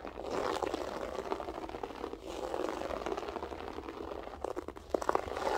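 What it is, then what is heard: Loop-pile carpet scratched. Long acrylic nails scratch and tap a flat beige loop-pile carpet with a textured loop pile. The result is a steady, dense rasping scratch with soft taps that is strongest in the low mids, with a few sharper tap bursts near the end.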